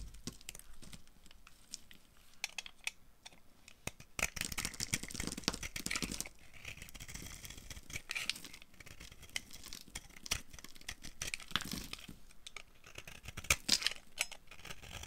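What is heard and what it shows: A utility knife blade carves a solid, dry orange bar of soap held in the hand, scraping and flaking off shavings. The sound is dry, bright and crackly, with quick scrapes and crumbly flaking that swell into louder, denser passages around 4–6 seconds and again near 13–14 seconds.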